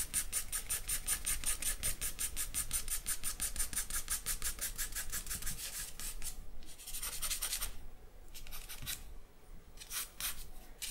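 A charcoal stick is scratched rapidly across a white sheet of drawing paper in hatching strokes, making a fast, steady run of bright, raspy scratches for about six seconds. It then breaks into shorter bursts of strokes separated by brief pauses.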